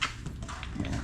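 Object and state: Solid concrete-filled door jamb.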